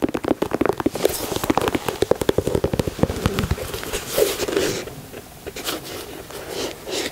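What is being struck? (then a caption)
Leather sneaker. Long nails tap and scratch a white leather Air Jordan 4 sneaker, working over its leather side panels and grey speckled midsole. A rapid run of sharp, dry clicks fills the first few seconds, then gives way to quieter, softer scratching with occasional light taps. The sound stays close and crisp, with a mid-range body around 490 Hz and brief bright edges on the clicks.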